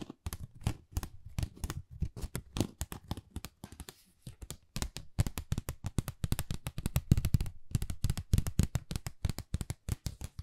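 Long nails scratch along the surface and edge of a flat, pale pink, pebble-textured cardboard Dior folder that is thin and hollow. The result is a rapid string of short, dry scratches and taps, each with a low, hollow thump and a faint bright crackle. The sound briefly quiets midway, then the scratching continues slightly louder to the end.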